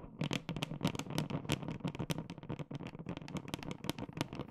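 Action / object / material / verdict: tap / large plastic supplement tub / plastic / none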